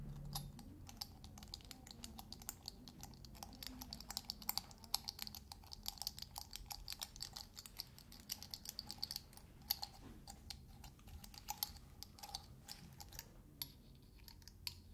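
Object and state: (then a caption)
Metal shaker lid tapped with fingernails. Fingernails rapidly tap and scratch the metal dome lid of a small glass salt shaker. The result is a dense, quick stream of short, bright clicks and scraping ticks that die away almost instantly, over a faint low rumble.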